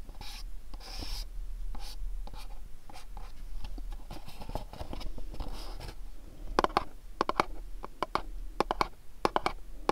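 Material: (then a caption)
Cardboard. Fingernails scratch and tap the corners and faces of a small dark printed cardboard candle box. For the first six seconds there is a soft, papery scratching. Then come crisp, dry taps with short bright clicks that die away almost instantly.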